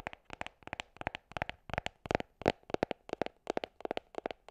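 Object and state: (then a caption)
Hollow cardboard box. Long nails tap and scratch a small, hollow gold cardboard gift box held horizontally. The result is rapid clusters of crisp, dry clicks with a hollow, mid-pitched knock and brief scratchy rasps, each dying away almost instantly.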